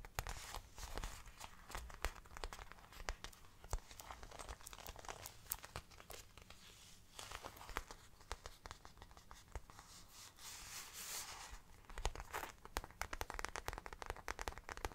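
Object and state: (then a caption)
Faux leather bag tapped and scratched with nails. Long black nails tap and scratch across the plain grained back of a hollow, brown, round faux leather bag. Rapid, crisp clicks mix with dry, crinkly scraping rasps over a faint low hum. The sound is quiet and close, with each tap dying out almost instantly.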